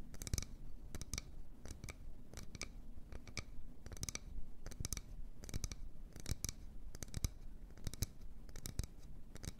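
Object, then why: Wooden bowl. Long nails scratch and tap the outside of an empty medium wooden bowl held in both hands. Quick, sharp, dry clicks stand out with bright edges and no ring, over a constant low, soft scratching rasp.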